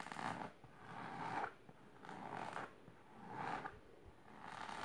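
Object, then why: Fabric-covered storage box. Long silver nails scratch the fabric of a large pink patterned fabric-covered box or ottoman, including near its lower edge. The strokes make a dry, rough scratching texture concentrated in the midrange, rising and falling in slow, uneven swells with quieter passes in between.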